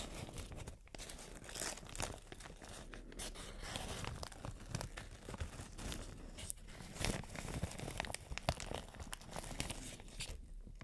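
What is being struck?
Thin plastic shower cap.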